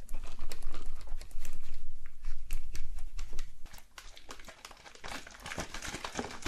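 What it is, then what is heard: Wooden tabletop tapped and scratched with long nails. One hand taps and scratches a solid, light wooden tabletop with very long, curved acrylic nail tips. Quick, crisp clicks and dry scratching strokes come in an uneven patter over a steady low rumble. The sound is louder for the first three and a half seconds, then drops to softer, lighter tapping.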